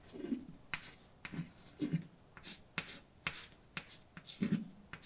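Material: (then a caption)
Chalk. Fingers hold a white chalk stick that scrapes across a large, dark, wall-mounted chalkboard with a flat, solid surface while writing a poem. Short, bright, scratchy strokes and sharp taps alternate with soft, low thuds as the chalk moves across the board in an irregular rhythm.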